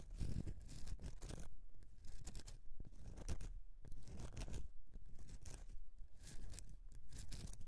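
Long dark-painted nails and fingertips scratch a solid rectangular bar of soap with a textured, lacy-patterned surface lying flat on a grey mat. The clip is a steady run of dry, rasping scratches in uneven bursts with brief pauses, carrying a soft low rumble beneath bright, hissy grit.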